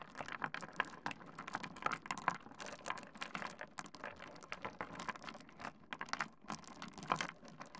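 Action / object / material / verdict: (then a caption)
scrape / pile of small stone pebbles / stone / none. Fingertips of both hands dig into and scratch through a heap of small solid pebbles resting on a wooden desk. The stones knock together in a rapid, dense stream of dry, bright clicks and clacks with no ringing tail, rising and falling in loudness as the hands move through the pile.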